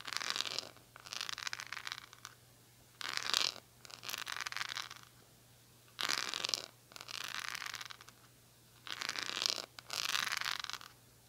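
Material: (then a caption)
Metal. Fingernails scratch the patterned back and edge of a silver-handled oval cushion hairbrush, then rake across its bristles. Eight separate bursts of bright, hissy scratching come in four pairs: a short, louder scrape followed by a longer, softer rasp. Each burst is separated by a brief silence.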